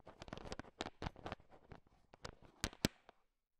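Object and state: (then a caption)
Candy-coated peanut chocolates being stirred. A thin wooden stick stirs and taps a heap of small, hard, sugar-shelled peanut M&Ms filling a bowl. It makes a quick, uneven series of sharp, dry clicks and rattles as the candies knock together, with two louder taps near the end. The sound then fades to silence.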